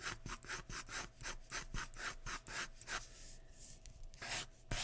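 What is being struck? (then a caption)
Graphite pencil on a paper drawing sheet. A graphite pencil tip scratches repeated hair strokes across a large flat sheet of white drawing paper resting on a wooden surface. Quick, rhythmic, bright rasping strokes come one after another, with a softer steady rub in the middle and a few sharper strokes at the end.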